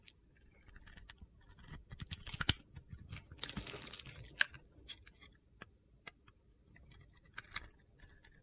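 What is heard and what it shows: A metal cutter blade carves crunchy shavings off a solid green-glitter soap bar with a teal interior, held in the palm. Crisp, gritty scraping and crunching come in irregular bursts, with a few sharper snaps standing out against quiet pauses.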